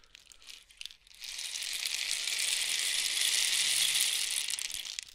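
A long, hollow painted cardboard rainstick with loose filling is raised from horizontal and tilted both ways, so the filling rattles down through the tube. A few faint ticks give way to a steady, bright, hissing patter that swells and holds for several seconds before thinning out near the end. The sound is almost entirely high and airy, with no low end.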